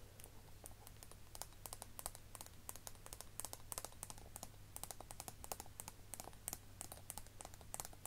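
A small, rounded, hollow pink plastic cosmetic case with a shiny silver collar and tall cap is held in both hands and tapped and scratched with long nails. The result is a rapid, uneven stream of short, bright clicks and ticks that stop almost instantly, over a steady low hum.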